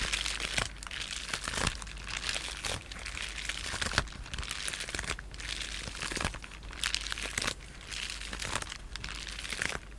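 A sheet of clear polyethylene bubble wrap with air-filled bubbles is held flat in both hands while fingertips and short nails tap, scratch and press the bubbles. The result is a steady, bright crinkling and crackling, broken by sharp clicks and scratchy bursts over a faint low hum.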